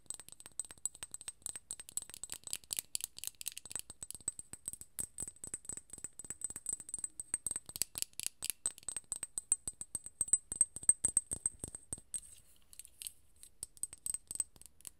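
Long nails rapidly tap a small, full glass serum bottle with a gold cap, producing a dense stream of quiet, bright clicks with a faint high ringing tone. The taps continue steadily, easing briefly near the end before resuming.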